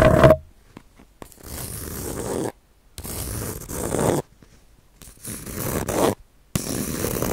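A palm-sized, round, flat bamboo-sheath baren, a solid woodblock printing pad covered in dry bamboo sheath, is scratched with fingernails along its fibrous surface. A brief tonal ping at the start gives way to four bursts of dry, raspy, zipper-like scraping separated by short silences.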